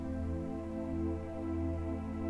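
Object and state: Nothing is struck.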